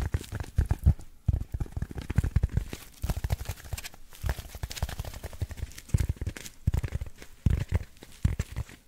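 A hand-sized black packing foam insert with cut-out slots is scratched and tapped across its textured surface by fingertips and short nails, held close to the mic. Rapid, uneven bursts of soft, dull thumps and scuffing scratches follow one another with almost no ring, heavy and muffled in the low end with only faint bright hiss.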